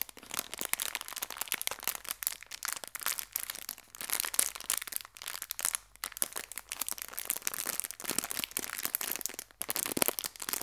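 A small clear plastic bag full of colorful hair ties is held in both hands and crinkled and squeezed with fingertips and long nails. Dense, bright crinkling and sharp crackles come in quick overlapping bursts throughout, with almost no low end.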